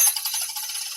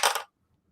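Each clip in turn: First: untreated coin, ringing freely. Second: damped coin, dead sound.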